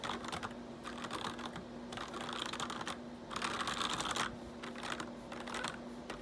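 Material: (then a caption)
Plastic. Fingertips rapidly type and tap on a full-size black plastic computer keyboard with a changing RGB backlight and hollow keycaps on a solid-feeling base. Dense bursts of bright, clattering plastic clicks rise and fall, and the bursts grow louder and busier in the middle. A faint steady low hum runs underneath.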